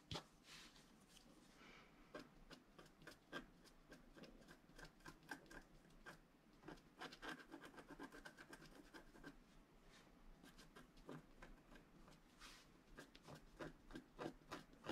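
A wooden stylus scratches fine lines into a flat scratch art card of black-coated paper board, while the other hand rests on the sheet. Quiet, dry, rasping strokes come in quick, uneven bursts, each a short bright scratch that stops almost at once. Softer rubbing fills the gaps between them.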